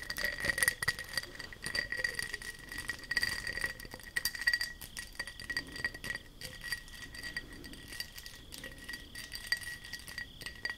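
Long nails tap and scratch a textured glass object, producing rapid, glassy clinks and light scraping. Bright, short ticks repeat over a soft textured scratching bed, with a steady high tone held throughout.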